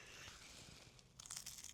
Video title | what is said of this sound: Korean fried chicken mukbang | y'all hear how crispy that is